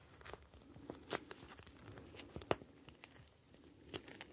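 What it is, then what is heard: Plastic gel bead ice pack. A hand-sized plastic gel bead ice pack, a clear flexible plastic pouch filled with small blue gel beads, is held up and squeezed and kneaded with fingertips. The plastic crinkles and the beads shift with a soft, continuous crackle, broken by sharper bright crinkles, the loudest near the middle.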